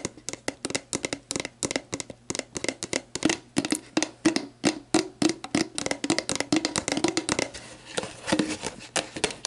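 An empty, hollow, clear plastic sports drink bottle lies on its side as long black nails tap and scratch its label and ridged plastic. Quick, dry, short taps come in a dense, uneven stream with a hollow mid-pitched ring. Between them are brief bright scratches and a faint low steady hum.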